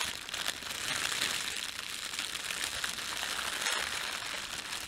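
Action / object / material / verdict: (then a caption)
scrape / thin plastic bread bag / plastic film / none. A thin, red, printed plastic bread bag is rubbed with the fingertips of both hands, then its film is pinched and crumpled. The result is a steady, dense, bright crinkle with almost no low end, holding an even level throughout.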